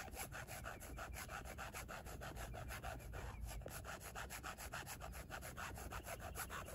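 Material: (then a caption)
Carbon fiber. Long nails scratch rapidly back and forth across a hand-sized, rigid, flat black plate with a twill carbon-fiber weave texture and screws in its corners. The result is a steady, slightly uneven run of dry, raspy strokes, about three or four per second, with a bright scratchy hiss over a low background rumble.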